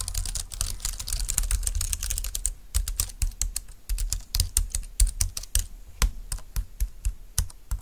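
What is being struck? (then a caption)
Plastic low-profile keyboard. A compact dark green plastic low-profile keyboard with flat keys, resting on a desk mat, is typed on quickly with the long-nailed fingertips of both hands. A fast, dense run of sharp, bright clicks comes through its hollow plastic body, with a low thump under each stroke. The typing slows into more spaced-out taps in the second half.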